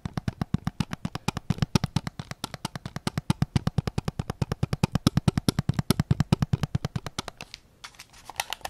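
Fingertips and nails tap rapidly on the grip of a white PS5 controller made of hollow plastic, held sideways. The dozens of short, dry, hollow knocks are mostly low-pitched with quick clicky tops. Near the end they pause briefly, then return softer and brighter.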